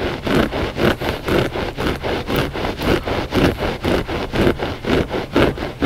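Short fingernails of both hands scratch the pile of a flat gray loop-pile textile rug that is solid and soft. The sound is a steady rhythm of rough, rasping strokes, about two per second, with a dull midrange body and little brightness.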